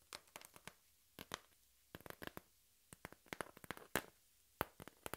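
A flat, hand-sized piece of thin, empty brown cardboard is scratched and tapped with long pink nails. Quick, dry clicks and scraping scratches come in uneven clusters, about two dozen short sharp strikes with a bright, papery edge over near silence.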